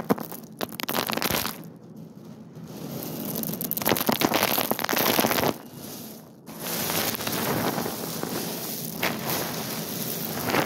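Hands scoop handfuls of hard, small dried white beans from a wicker basket and drop them back onto the loose pile. This makes a dense, rain-like pattering of bright rattles, with brief quieter pauses between pours. The beans finally settle at rest.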